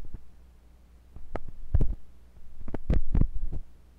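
A thin metal pointed sculpting tool with a wooden handle, held by fingers with long pink nails, scratches and pokes inside the ear canal of a white silicone ear on a block-shaped binaural microphone. The result is deep, muffled thumps and rumbling pressure sounds over a low steady hum, with short scraping bursts rising into brighter crackles. The sound comes in two louder clusters.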